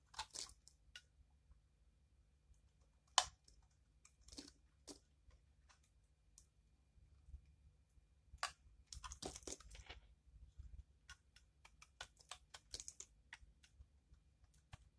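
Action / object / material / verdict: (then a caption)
scrape / dried bar of soap / soap / none. A hand-sized bar of dried soap, painted blue over a pale pink core and held in one hand, is scraped by a utility knife blade that shaves off crunchy curls and flakes. Short, bright, dry crunches and scratchy shaving strokes come in irregular bursts, with a dense flurry in the middle, over a faint low hum.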